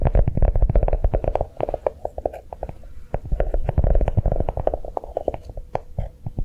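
A notebook made to look like a chocolate bar is tapped quickly with fingertips, giving a dense, irregular run of soft, dull, low-pitched taps with almost no ring. The tapping is fuller at the start, eases into quieter, sparser taps in the middle, then picks back up toward the end.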